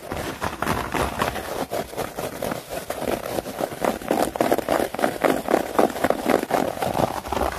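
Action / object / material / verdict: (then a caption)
scrape / synthetic turf mat, plastic grass blades / plastic / none. A synthetic turf mat with plastic grass blades, lying flat, is scratched and raked quickly with long nails and fingertips. Fast, uneven bursts of crisp scratching rustle repeat at about four per second. The texture sits mostly in the mids, with little low end.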